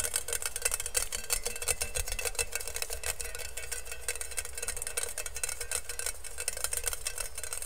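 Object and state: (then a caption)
Stainless steel colander. An empty, hollow stainless steel colander is held in both hands while nails and fingertips quickly tap and scratch its perforated bottom. A dense, rapid stream of short, bright metallic ticks and scrapes runs throughout over a low background rumble.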